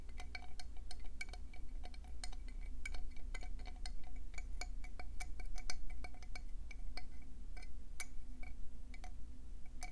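Long painted nails tap quickly along the spiral ridges of a hand-sized, hollow conch shell held up in front of the body. The result is a rapid, irregular stream of bright, short clicks with a slight ringing tone, over a steady low hum.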